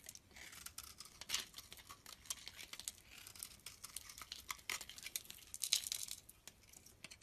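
A blade scrapes and carves a solid white bar of soap held in the hand, making a quiet stream of dry, crisp, bright scraping and crackling strokes. The strokes come quick and uneven, with a few louder cuts standing out near the start and toward the end. There is almost no low end, only high, brittle shaving sounds that stop quickly after each stroke.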